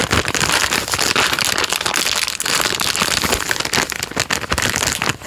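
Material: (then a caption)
Plastic film. A full plastic-film Jammie Dodgers Unicorn biscuit packet has its wrapper end crinkled and squeezed between fingers. The result is a dense, steady, bright crackling, with many sharp snaps that rise and dip in level and fade at the end.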